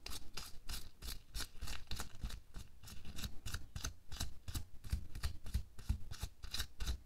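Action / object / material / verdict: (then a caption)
scrape / thin latex glove on a hand / latex / none. Bare fingers pinch, rub and scratch a thin pink latex or nitrile glove worn on a hand lying flat, working at the wrist and the back of the hand. The result is a quick run of short, bright rubbery scratches and squeaks with soft low thumps underneath, each stroke dying away almost at once.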